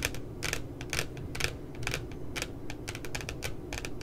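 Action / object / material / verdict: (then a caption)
tap / spiral notebook with glossy paper cover / paper / none. Fingertips and nails tap along the bottom edge of a puppy-themed spiral notebook with a glossy paper cover lying flat. They make quick, dry, bright clicks in an uneven, steady patter, like typing, over a low, constant background rumble.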